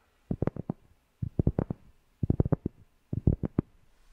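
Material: Cork.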